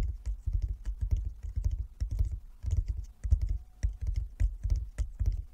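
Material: Wood.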